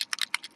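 An alcohol ink mixative bottle is shaken to mix its contents, which settle out if left unshaken. The loose mixing ball inside rattles in a quick series of sharp, bright clicks with no low end and no ring.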